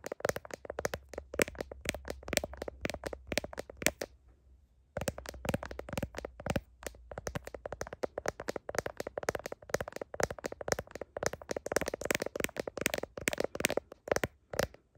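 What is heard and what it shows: Long nails tap rapidly on the back of a smartphone in a blue heart-shaped plastic case, with the phone held up in a mirror. The taps are sharp, bright clicks with a hollow plastic tone that stop dead with no ring. They come in dense bursts with a brief pause around four to five seconds, over a faint low hum in the first half.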